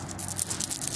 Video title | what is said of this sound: Arrowhead hunting adventure | it almost sounds like glass